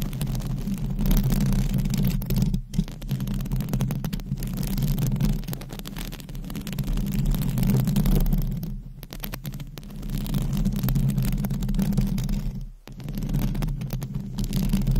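Long pointed acrylic nails scratch a hollow dome metal wire-mesh microphone grille, giving a continuous, dense low rumbling scrape with rapid irregular rasping texture. The sound swells and fades in waves, with brief near-silent dips where the scratching pauses.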